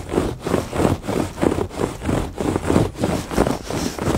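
Fingertips and nails scratch back and forth across the textured surface of a woven fabric rug. The result is a soft, rough rasping rustle in rhythmic swells of roughly a stroke and a half per second, with most of the sound in the low-mid range and little high brightness.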